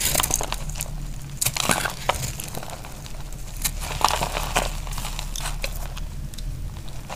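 A dry, solid pink bar of soap held in the hand is shaved and scraped with a snap-off utility knife blade, and crunchy flakes fall onto a grey mat. Crisp, bright scraping crackles and sharp ticks come in quick bursts over a steady low hum.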